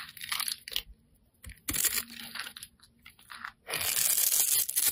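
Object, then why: Bar of soap scraped with a metal blade. A solid, rectangular, hand-sized green bar of soap is held in one hand and scraped and carved with a metal utility-knife blade that shaves off crumbly flakes. Bright, crunchy scraping strokes come in short irregular bursts separated by brief quiet gaps, with almost no low end. The clip ends in a longer continuous stretch of dense, high-pitched shaving.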